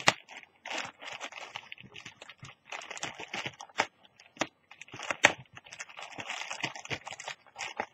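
Long teal nails scratch and pinch-crinkle the surface of a thin orange plastic carrier bag lying flat and empty. The result is a steady stream of crisp, bright crinkles and short dry crackles with almost no low end, broken by brief pauses. Sharper, louder snaps stand out near the start, around 3.8 seconds and around 5.3 seconds.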